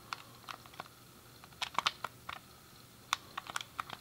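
Thumbs and fingertips rapidly click the face buttons and D-pad of a hand-sized, hollow grey plastic SNES game controller. About fourteen short, dry, bright plastic clicks come in uneven bursts, with no ring after each one and almost no low end.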